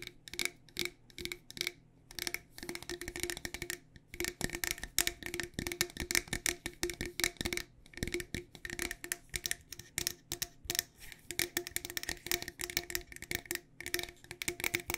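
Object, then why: Metal tea tin. A medium, decorated, hollow cylindrical metal loose-tea tin is held in both hands and tapped with long nails on its sides and lid. The result is a steady stream of rapid, bright, clicky taps with a faint hollow metallic ring that dies away almost instantly, broken by brief pauses between bursts.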